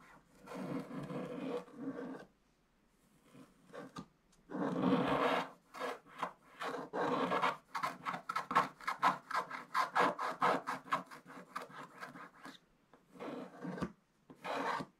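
A wooden stick scrapes along the coated edges of a scratch-art paper page, producing dry, rasping scratches. A long rubbing stretch and a dense burst give way to a run of quick, uneven back-and-forth strokes with short pauses. The sound is mostly midrange, centered around 1 kHz.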